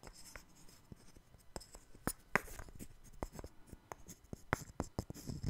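A small puzzle of interlocking solid light-wood blocks is held in both hands and scratched and tapped with the fingernails. Quiet, dry scratching runs throughout, broken by sharp, clicky taps that die away at once, with brief bright edges.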